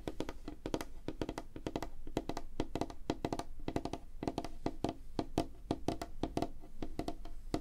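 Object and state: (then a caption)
Wooden tabletop. Fingertips and nails tap quickly on a flat, solid, light wooden tabletop. The result is a rapid, uneven stream of short, dry knocks with a woody ring around 316 Hz. Each tap dies almost immediately, with little high-end sparkle.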